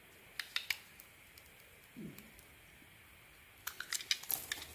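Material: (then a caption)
Soap. A metal blade shaves the red edge and white flakes off a solid, red-coated white bar of soap held in hand. Sharp, bright, dry scraping ticks come in a few quick strokes early on, then a soft, low brushing rub, then a denser cluster of crisp cuts near the end against a quiet background.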